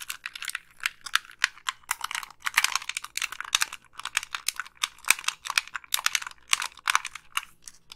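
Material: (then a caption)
Plastic. Long pink nails tap the hollow casing of a black Xbox 360 plastic gamepad and click its buttons. The result is a rapid, irregular stream of short, dry, bright clicks and taps with almost no low end and no ring.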